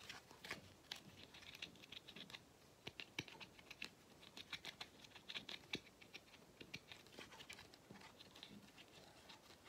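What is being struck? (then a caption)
Rubber end cap of a vacuum cleaner filter. Fingertips and nails tap the flat black rubber/plastic end cap of a hollow vacuum cleaner filter. The result is a rapid, irregular patter of short, dry clicks that are bright and mostly high in tone, with almost no ring. Soft scratchy rustling runs between the taps.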